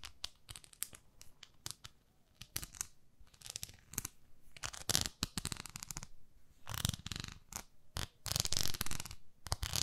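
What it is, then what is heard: Silicone facial cleansing pad. Long nails scratch the nubbed face of a palm-sized beige textured silicone facial cleansing pad. Quick, irregular scratchy rasps come in short bursts, building into longer, louder, brighter scrubbing stretches toward the end.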